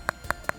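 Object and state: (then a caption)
Phone back that sounds like plastic. Three quick taps on the back cover of an LG G5 smartphone, made of thin metal under a thick epoxy coating and micronized aluminum paint. Each tap is a short, dry click centered around 1.4 kHz with almost no ring. It sounds like hollow, cheap plastic rather than metal.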